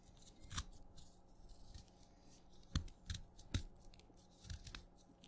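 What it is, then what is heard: Wet chalk being cut. A craft knife cuts into and scrapes flakes from the end of a short, wet purple chalk piece held in the fingertips. Quiet, irregular crisp crunches and scraping snaps with a bright crackle and a soft low thump sit over a faint low hum, each sound dying away almost instantly.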